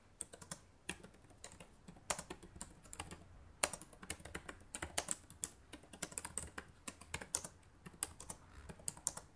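Fingertips with long nails type rapidly on the plastic keys of a black laptop. The result is a quick, irregular stream of short, dry clicks with a bright, clacky top and almost no ring. Some strokes stand out louder than others over a quiet background.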